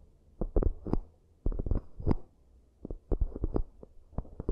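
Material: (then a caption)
Cork. Long nails tap and scratch the rims and inner surfaces of two identical, hollow, empty round cork coaster bowls. The result is quick, dull, low-pitched knocks with soft scratching between them, arriving in three bursts separated by brief quiet gaps.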